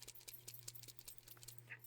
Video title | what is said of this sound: 367/THESE INLAYS REALLY CHANGED THE LOOK OF MY RESIN CASTINGS! #resincrafts #resinart #TUTORIAL | It has this little thing in it that you can hear rattle.